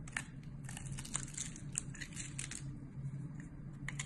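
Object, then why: Glycerin soap bar. A box-cutter blade scrapes and cuts into the scored, grid-like face of a solid, hand-sized, translucent yellow glycerin soap bar held in one hand, shedding crumbly flakes. It makes a continuous dry crinkling scrape with sharp, bright crunchy clicks scattered throughout, over a steady low hum.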